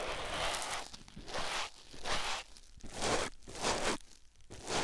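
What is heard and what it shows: A white foam sponge block is held by hand and rubbed against a silicone ear microphone, producing soft, broadband scratchy rustling and crunching. The strokes come in repeated swells, each brightening into a hissy high band before dipping quiet, at an uneven, unhurried pace.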